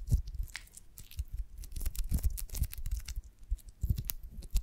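A pear-shaped beeswax honeycomb on a branch with a wooden stick is cupped in both hands while long nails tap and scratch across its waxy cell surface. The result is a quiet, uneven run of soft, dull low thumps mixed with short, dry, bright scratching crackles that die away almost instantly.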